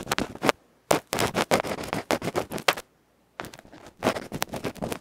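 A bamboo ear pick scratches the felt face of a small metal electret microphone capsule held between fingers. It makes rapid bursts of loud, close, crackling scrapes that sweep from mid to bright high tones, broken by two short silent gaps.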